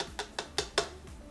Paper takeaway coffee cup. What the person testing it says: it's got weight distributed the entire way across the circle so of course it is a more dense sound